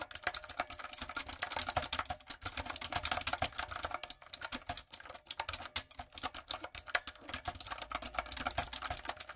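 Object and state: Mechanical keyboard with round plastic keycaps.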